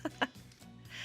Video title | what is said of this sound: Food Network Chefs' Top Rotisserie Chicken Recipe Videos - Food Network | the edges are beautifully crisp